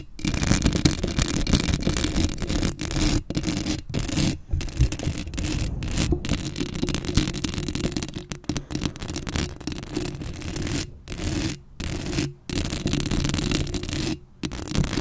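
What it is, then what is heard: Metal mesh microphone grille being scratched. Long acrylic nails scratch the hollow metal mesh grille of a black Blue Yeti microphone up close, making a dense, rough, raspy scraping with heavy low rumble and a band of buzz around 145 Hz. The scratching runs almost continuously, broken by several brief silent gaps where the nails lift off.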